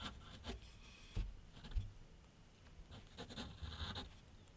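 A graphite pencil tip draws and scratches outlines on a large flat sheet of white paper mounted on a board on an easel. Six soft, dry rubbing strokes stand out, each with a low bump and a brief bright scratch over a quiet hiss.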